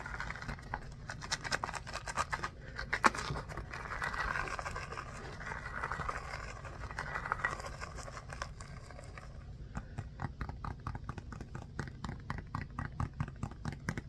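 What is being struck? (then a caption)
Small rubber ball with a pebbled surface. Fingers rub and scratch the pebbled surface of a small, orange, textured rubber mini basketball held in both hands. For the first nine seconds or so the sound is a soft, continuous scratching and rubbing in the mid-range over a low, steady hum. After that it turns into a quick run of short, crisp scratching strokes.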